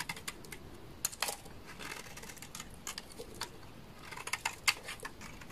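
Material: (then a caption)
Soap. A utility knife blade shaves a hand-sized, solid orange bar of dry laundry soap, making a quick, irregular run of crisp, bright ticks and scrapes. Each click is short and dry with almost no ring, over a soft steady hiss.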